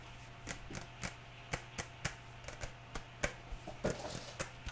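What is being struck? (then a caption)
Plastic glue bottle. A full, medium-sized white plastic PVA glue bottle with a red cap is held in one hand and tapped with long nails, giving thirteen short, dry, hollow clicks that die away almost at once. Steady rain hisses underneath throughout.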